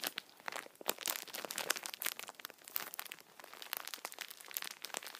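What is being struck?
Tissue packets in thin plastic film wrap.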